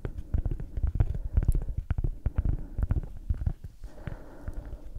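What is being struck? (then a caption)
Cork coaster. A round, flat, solid cork coaster is tapped and scratched with long acrylic nails. Dull, low, irregular taps with very short decay come in quick bursts, dominated by deep thuds. Near the end they give way to a softer, grainy scratching texture.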